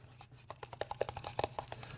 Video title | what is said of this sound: Budget Rangefinder Battle! Unexpected results?! Wosports H111 vs Leupold Redfield Raider | this one has a little bit more plasticky feel to it